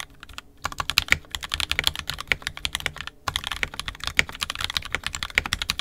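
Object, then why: Plastic mechanical keyboard. An NK65 Entry Edition 65% mechanical keyboard, with a purple plastic case, red and black plastic keycaps, and lubed and filmed 67g Tangies switches, is typed on continuously with the fingertips of both hands. A dense stream of short, bright, clacky keystrokes, with some louder sharp clicks, breaks briefly just past three seconds, then resumes at the same quick pace.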